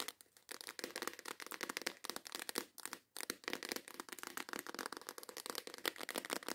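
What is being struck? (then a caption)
Plastic case holding nail files. Long acrylic nails tap and scratch quickly on the lid of a transparent plastic case with snap clasps, full of nail files. A dense run of crisp, bright clicks and scraping rasps continues with no low end and a brief pause near the middle. Each tap stops almost instantly.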